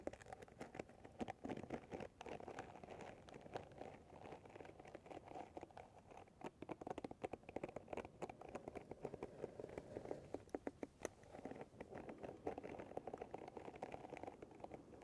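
Fingertips and long nails continuously strum and scratch the dense pins of a paddle hairbrush with a light handle. The result is a quiet, steady stream of rapid, crisp clicks and soft crinkly pattering, mostly in the low-mid range, with sharp ticks that stop dead with no ring.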